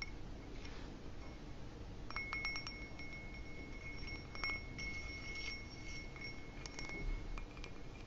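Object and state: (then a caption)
Ribbed glass goblet tapped. An empty, hollow, dark ribbed glass footed goblet is held up and tapped with fingertips and nails on its bowl and base. The taps make quiet, short clinks, some bringing out a thin, high glassy ring near 2.3 kHz. A steady low rumble sits underneath throughout.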